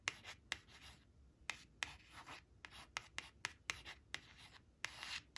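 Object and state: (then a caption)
Laminated cardboard flash card. Long acrylic nails trace the number on a thin, flat laminated cardstock flash card marked "5 five" resting on a woven cloth, scratching its glossy surface. About thirteen sharp, bright clicking taps are separated by soft, hissy scratching strokes. The sound is quiet, dry and high-pitched, with almost no ring.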